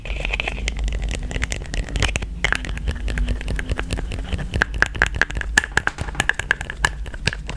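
Long nails tap rapidly on a yellow plastic cosmetic tube and its black plastic cap, held in one hand, making quick, light, hollow clicks. Sharp ticks with a faint high ring sit over a steady low rumble throughout.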